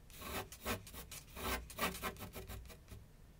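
A graphite pencil rubs and scratches sketch strokes across a large flat sheet of white paper on a board on an easel. The strokes come as irregular, bright, raspy bursts with a soft low thump beneath, fading quickly between strokes.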